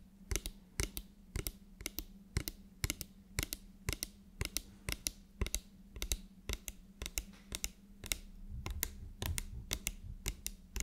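A medium frosted, translucent spray bottle, likely plastic, with a black pump nozzle, hollow and partly filled with liquid, is held upright and tapped rapidly with long nails. The result is a fast, uneven run of sharp, dry clicks with bright edges and almost no ring, over a faint steady low hum.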